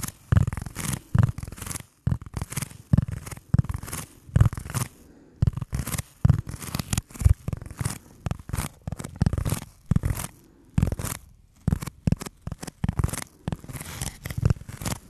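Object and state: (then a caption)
Foam block being scratched. Fingertips scratch the textured surface of a solid, rectangular black foam block held in both hands. Rapid bursts of dry, scratchy rubbing come in quick clusters with short pauses between them, their energy sitting mostly in a low, dull rumble with faint bright edges.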